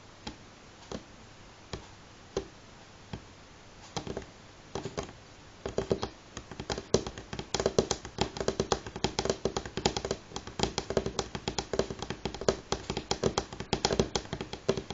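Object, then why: Wooden table top. Fingernail tips of both hands tap on a solid, light wooden table top. Slow, separate taps during the first few seconds build into fast, dense drumming of short, dry clicks with a mid-pitched wooden knock.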